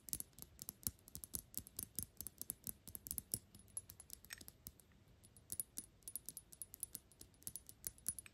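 The flat glass sides of a Gucci Intense Oud perfume bottle, black glass with a gold cap, are tapped rapidly with long pink acrylic nails. Quiet, bright, clicky taps come in quick irregular bursts, each dying away almost instantly. There is a brief lull just before the middle of the clip before the fast tapping resumes.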